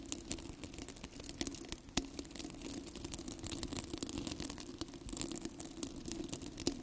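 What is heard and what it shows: Fingertips and nails scratch and rub the bristly hook-and-loop surface of two identical yellow, hollow, cylindrical plastic velcro hair rollers held close to the microphone. The result is a continuous dense, crackly scratching with many sharp, bright clicks over a low hum near 270 Hz.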